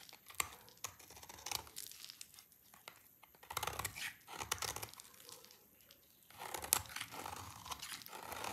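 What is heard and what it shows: A utility knife blade scrapes a rectangular solid bar of dry red soap held in one hand, peeling off curly shavings. Quiet, dry scraping and crackly tearing bursts come in waves with brief pauses, bright and crisp with little low end.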